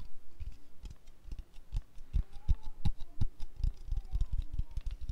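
A white aluminium aerosol deodorant can, about 150 ml and pressurized, is tapped and scratched with long lilac nails. Irregular dull, low taps with very short decay mix with faint high scratching, about 23 hits over five seconds.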